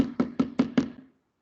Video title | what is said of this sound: VIDEO OBSERVASI RENNY HARAHAP | ini adalah bunyi dari plastik. Nah, bunyi yang berulang ya.